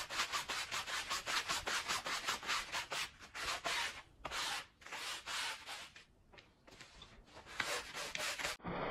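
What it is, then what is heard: Wet woven pile rug being brushed. A green push broom brushes back and forth across the pile of a wet, soapy, fringed Persian rug, a woven wool-type textile. About 16 quick scrubbing strokes give a bright, hissy, bristly rasp, with a couple of short pauses before the brushing resumes.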